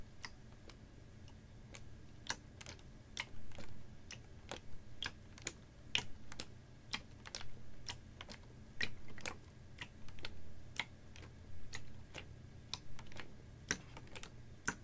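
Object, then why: Plastic water bottle with water. A capped, clear ribbed PET water bottle about half full of water is held horizontally and tapped with fingernails. About 35 short, crisp, bright clicks come at an uneven pace, each dying away almost at once. A steady low hum runs underneath.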